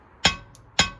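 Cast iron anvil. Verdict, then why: Dull. A cast anvil is struck twice, each hit giving a sharp, bright metallic tap centered high around 3.3 kHz that dies away quickly. It sounds duller and rings less than a forged anvil; cast anvils are commonly thought to be no good.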